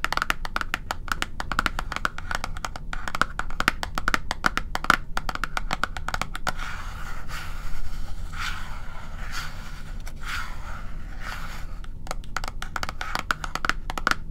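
A small, tall, hollow white cardboard box of The Ordinary serum packaging is held upright and tapped with fingertips and nails. Quick, dry, clicky taps with a light hollow ring come in rapid bursts. Softer scratchy brushing strokes fill the middle of the clip.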